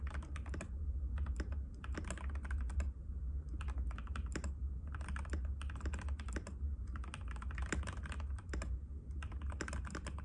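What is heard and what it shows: A compact cream-white plastic mechanical keyboard with plastic keycaps and a hollow case rests on a glass table while fingertips of both hands type continuously in rapid taps. Dense, clicky keystrokes run throughout over a steady low hum near 70 Hz.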